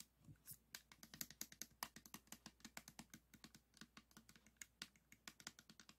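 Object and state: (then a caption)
Plastic puzzle cube. A 3x3 plastic speed cube held in both hands is tapped rapidly with the fingertips and nails on its white and green faces. The result is a quick run of sharp, dry, bright clicks that die away almost instantly, with very little low end.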